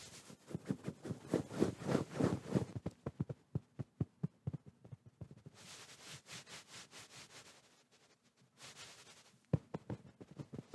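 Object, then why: Soft fabric pillow. Fingertips tap and pat a medium soft white fabric pillow held in front of the microphone, making quick, muffled low thuds. The taps come in a fast, dense flurry at first, then thin out, broken by soft brushing swishes across the fabric.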